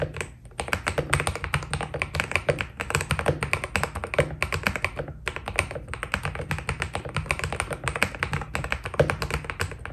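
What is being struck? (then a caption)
Mechanical keyboard with plastic keycaps. Fingertips type steadily on a white Keydous NJ80 mechanical keyboard with PBT plastic keycaps, producing a rapid, continuous stream of short, crisp clacks with a bright top and very little ring. A low, steady rumble sits underneath the key presses throughout.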